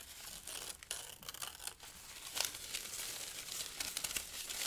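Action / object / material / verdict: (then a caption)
scrape / thin paper sheets / paper / none. Thin pale-green paper sheets and strips are crumpled and torn by the fingers of both hands. A steady, bright crinkling runs throughout, broken by sharper, louder rips and crunches. The sound sits almost entirely in the high range with very little low end.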